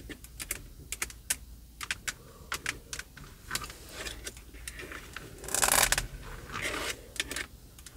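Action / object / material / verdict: tap / plastic steering wheel hub cover / plastic / none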